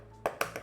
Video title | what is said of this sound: Daramgar - Homemade Ramen, Marinaded Eggs (August 25, 2024) | tap it tap it until you hear that crunch